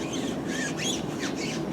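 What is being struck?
Nothing is struck.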